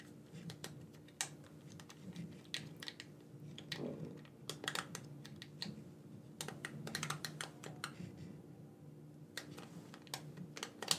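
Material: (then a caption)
Plastic. A black corded gamepad with a hand-sized hollow plastic shell is held in both hands while thumbs press and click its buttons and sticks. Quick, sharp, bright plastic clicks come in irregular bursts over a steady low hum, each dying away almost instantly.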